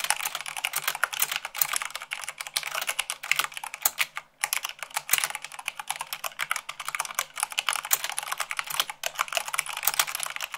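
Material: Plastic.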